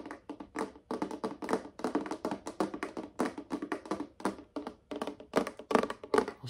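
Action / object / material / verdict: tap / folding wooden chessboard / wood / none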